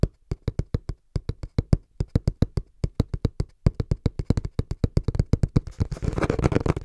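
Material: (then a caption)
Cardboard. Hands tap fast and rhythmically on a cardboard box, producing dull, low thuds with almost no ring. The taps come in an even, quickening pattern and blur into a dense flurry of scratchy, rapid tapping near the end.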